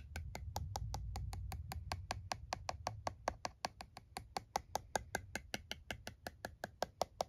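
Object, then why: Plastic calculator keys. Fingertips press and tap the keys of a plastic TI-34 scientific calculator lying on a towel, producing a steady run of quick, dry clicks with a short plasticky tick around 700 Hz and a bright edge. A low rumble underlies the first half and fades out after about 3.5 seconds, leaving the taps standing out sharply against quiet.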